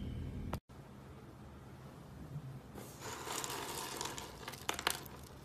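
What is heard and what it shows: A pile of small blue, green and purple dry soap curls is grabbed and crushed with the fingertips on a wooden table. After a brief silence and a quiet low rumble, a bright, dense crunching and crinkling starts near the three-second mark. Several sharper crackles stand out toward the end.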